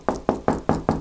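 Five knocks on a lath and plaster wall between the studs in an older house, each giving a short, hollow thud with a low pitch that dies away quickly. The hollow sound marks a spot where there is no stud behind the surface.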